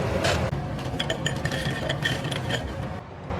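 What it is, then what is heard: Crisp twice-fried battered pork. Battered pork pieces, fried a second time at high heat, clatter and tap crisply against each other over a steady low rumble, with bright, short clinks throughout. The double frying keeps the pieces crisp outside and tender inside so they don't go soft.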